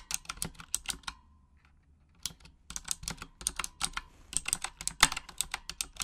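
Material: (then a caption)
Plastic. Long acrylic nails type in Japanese on a full-size pink mechanical gaming keyboard, a Razer Huntsman with RGB backlighting and plastic keycaps. Quick, bright, clicky key taps come in uneven bursts, with a pause of about a second in the middle before the typing picks back up. Each tap is short and crisp with almost no ring.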